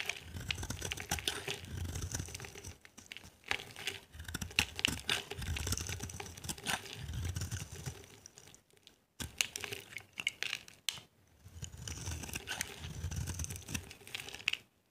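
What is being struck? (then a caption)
Soap bar shaved with a small metal blade. A small metal blade shaves and carves a solid, dry, palm-sized green soap bar held in the hand, peeling off thin curls that pile up. Dense, crisp scraping and crackling with bright, rapid ticks runs in long strokes, pausing briefly a few times.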